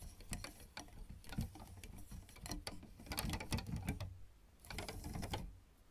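Long red nails and fingertips of both hands tap rapidly on solid black and white plastic piano keyboard keys. The result is a dense run of short, dry clicks and clattering taps with a low, thumpy body and bright click edges. The tapping pauses briefly near the end, then resumes before fading.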